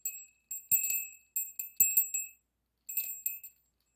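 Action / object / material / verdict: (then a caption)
shake / small brass bell with clapper / brass / none. A small hollow brass bell with an internal clapper, held by a yellow pipe cleaner, is swung and shaken by hand while a second bell sits still on the table. About a dozen quiet, bright, high tinkling rings come in irregular clusters. Each ring fades quickly, with no low end.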